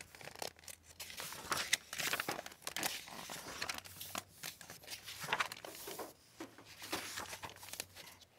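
A large hardcover library book, "Dreadnought," with a glossy plastic-covered paper dust jacket, is held by fingertips with long white-tipped nails, then opened, and its paper pages are turned by hand. A steady run of quiet, bright crinkles, rustles and soft tearing-like swishes from the plastic jacket and paper fills the clip, with almost no low end and no ring after each touch.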